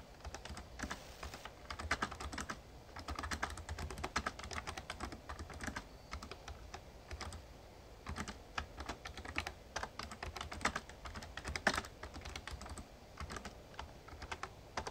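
Fingertips type steadily on a full-size backlit plastic Razer Ornata Chroma mecha-membrane gaming keyboard. Rapid, crisp key taps with short, bright clacks come in bursts with brief pauses, over a faint low hum.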